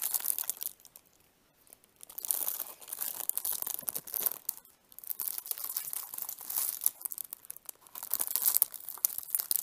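Fingertips and nails rub and crinkle the clear cellophane wrap on a small flat CD case with a red and orange printed cover, held in both hands. Dense, bright crackling and crinkling comes in bursts, with a near-silent pause around one to two seconds and another brief lull near five seconds. There is almost no low end.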